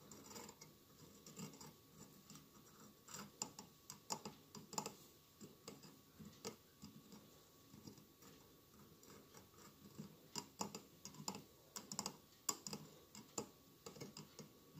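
Fingernails gently tap and scratch the tiled surface of a hollow glass mosaic votive candle holder with a lit candle inside. The result is a quiet, irregular stream of small, bright clicks with very short ring, mixed with soft scraping and a low, faint background rumble.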